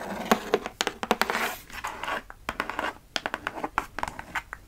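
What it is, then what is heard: Cardboard shipping box. A closed, hollow kraft cardboard Sephora mailer box is held up and turned while long nails scratch and tap its flat faces. Sharp, dry taps cut through bursts of rough scratching, with little low end and each tap dying away almost instantly.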